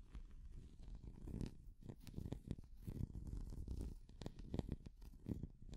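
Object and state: Plastic cat figure.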